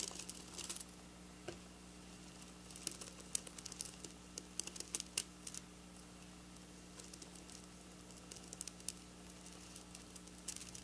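Long black polished natural nails scratch and trace across flat silver plastic-sequin fabric lying on a counter. The result is quiet, bright, crinkly ticking and scratching that comes in scattered bursts, with a steady low hum underneath.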